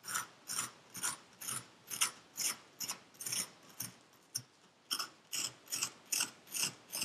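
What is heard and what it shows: A metal pick with a wooden handle scrapes and cuts through purple kinetic sand in a yellow paper cup. About sixteen short, separate, bright gritty scrapes repeat at a fairly steady rhythm, each dying away quickly with no low-end weight.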